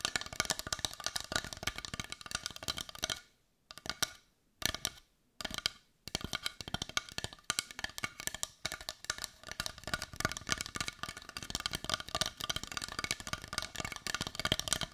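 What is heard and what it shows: Long nails rapidly tap and scratch the rounded side of a brown, solid-looking carved wooden heart, making dense, bright, dry clicks with almost no ring. A few short pauses break the stream between about 3 and 6 seconds before the steady tapping resumes.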